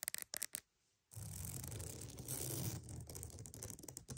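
A wooden mat is tapped and scratched for ASMR: several quick, crisp taps open the clip, then a brief pause. A steady, rough scratching follows for about three seconds, with a low rumbling body and a bright, hissy top.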